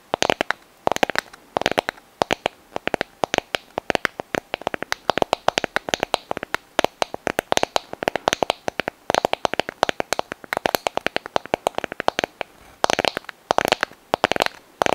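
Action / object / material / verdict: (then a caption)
tap / sand dollar shell (calcium carbonate skeleton) / shell / none. A small, hollow, brittle white sand dollar skeleton (a calcium carbonate test), held in both hands close to the microphone, is tapped and scratched with long nails. The result is a rapid, uneven stream of dry, crisp clicks and scratchy ticks that stop almost instantly, with a mid-range body around 700 Hz, bright edges and almost no low end. Some of the taps come in denser bursts.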